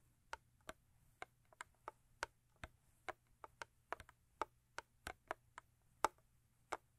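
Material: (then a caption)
Cardboard. Long acrylic nails tap rhythmically on the sides of a thin cardboard Crest toothpaste box, giving twenty short, dry, quiet clicks. Each tick sits in the midrange and dies away almost instantly, with uneven gaps between taps over a near-silent background.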